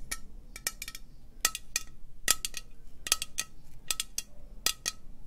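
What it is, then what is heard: Metal aerosol spray can. Long nails slowly tap a hollow green metal aerosol spray can with a white cap. It makes a series of sharp, bright metallic clicks that die away almost at once, each with a faint ringing tone, over a low, quiet background hum.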